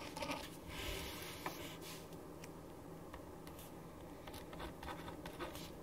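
A ballpoint pen writes on a thin printed paper sheet lying flat on a wooden desk, making dense, quiet scratching strokes. The soft, continuous scratch is broken by brief, brighter stroke accents over a steady low background.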